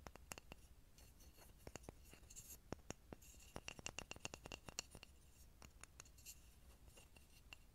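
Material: Pine wood.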